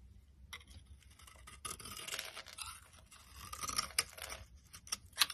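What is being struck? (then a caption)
Bar of soap. A box cutter blade repeatedly scrapes and shaves dry flakes off a solid, hand-sized yellow DURU bar soap held in one hand. Bright, crackly scraping strokes come in uneven bursts, with several sharper ticks toward the end.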